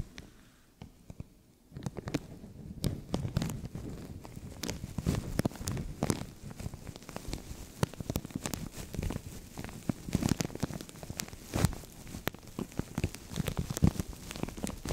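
A translucent thin plastic bag stretched over a microphone is scratched with nails and crinkled with fingertips. After a near-silent first two seconds, a steady stream of close, muffled crinkling and scratching sets in, heavy in the low end and dotted with sharp, brief clicks and snaps.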